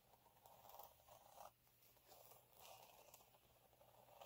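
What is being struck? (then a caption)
Fine glitter sheet. Fingernails scratch along the ribbed surface of a flat, fine gold glitter sheet resting on a dark cloth. The result is a quiet, dry scraping with a rough, crackly texture, centered in the mid range with a bright hiss. It comes in three swelling passes, with a brief dip between strokes.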